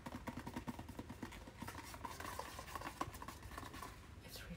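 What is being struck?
Cardboard product package.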